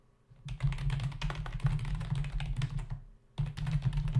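Both hands tap the plastic keys of a black plastic membrane computer keyboard with their fingertips as it sits on a desk. Fast, dense typing gives a steady run of short clicky taps over a deep, hollow thud from the keyboard's body. The typing stops briefly near the three-second mark and then resumes.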